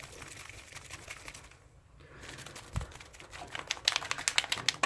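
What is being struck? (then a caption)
Spray ink bottle with mixing ball. A spray ink bottle is shaken to mix the ink, and the mixing ball inside rattles against the walls. Soft, rapid clicking gives way to a brief lull, then louder, sharper ticks toward the end.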